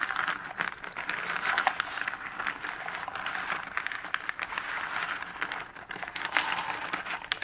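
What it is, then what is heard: Cardboard jigsaw puzzle pieces. Fingertips and nails rake, stir and pick through a pile of many small cardboard jigsaw puzzle pieces in a shallow cardboard box lid. The result is a steady, dense rustle of dry clicks and crinkly scraping, centred in the mids and upper mids with bright ticks and almost no low end. Each tick dies away almost instantly.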